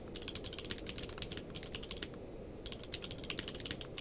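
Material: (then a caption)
Plastic. Both hands type rapidly with their fingertips on a full-size mechanical keyboard with a blue-grey case and white and grey plastic keycaps, resting on a blanket. Quick, bright, sharp clicks with very short decay run over a steady low-frequency rumble. The typing pauses briefly about halfway through before resuming.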